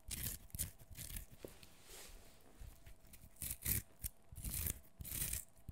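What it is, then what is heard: Fresh cucumber being peeled. A whole fresh green cucumber, solid and fleshy, is held in one hand over a wooden floor while the fingernails of the other hand scratch and peel off its skin. Close, quiet bursts of bright, crackly scraping and tearing come and go with short pauses. Soft low thuds sit underneath, and each burst stops dry without ringing.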